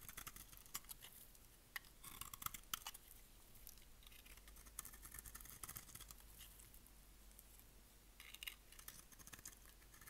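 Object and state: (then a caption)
Dry soap bar being shaved with a blade. A utility blade shaves and scrapes the surface of a solid, dry, rectangular pink bar of soap held in the hand. Soft, dense, crisp scraping and crackling with a bright, papery texture runs through the clip, broken by sharper ticks and flakes snapping off, over a faint steady low hum.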